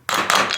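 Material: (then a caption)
Steel. Three hammer strikes on a steel bearing race in a trailer wheel hub give a hard, bright ringing tone centered near 1.2 kHz, with the earlier dull sound now gone. The race has bottomed out against the hub shoulder and is fully seated on hard backing.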